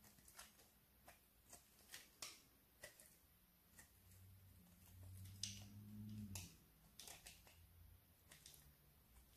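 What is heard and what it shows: A thin, flat, solid slice of orange bar soap, held in one hand, is scraped with a metal blade that shaves off curls. About eleven crisp, bright scraping strokes come at an uneven pace over a quiet background, with a low steady hum rising in the middle of the clip.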